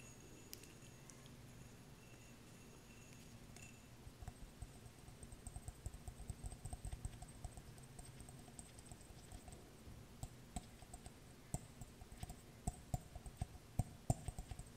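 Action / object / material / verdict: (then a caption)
tap / small glass jar / glass / none. A small, clear, empty glass jar is held upside down while long nails tap on its base and threaded rim. The result is soft, quick clicks and light taps with a faint high glassy ring, sparse at first and then coming faster and a little louder toward the end.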